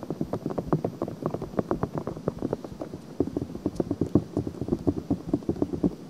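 Long painted nails scratch a soft, hollow, white silicone ear-shaped cover on a black binaural microphone. A rapid, dense run of short, dry scratching strokes sounds close and muffled, concentrated in the low-mids around 300 Hz with almost no bright content.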